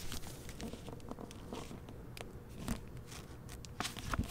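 A hardcover novel in a glossy plastic library dust jacket, with a portrait on the back cover, is held and opened, and its paper pages are fanned and turned with the fingers. Soft crinkles and papery flutters come in quick, dry bursts over a low rumbling background, with sharper crackles near the end. The sound is quiet and close, and each rustle dies away almost at once.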